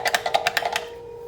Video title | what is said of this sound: C.K. Disassembles a PowerTime USB dock | when you can pick up a new product shake it it rattles around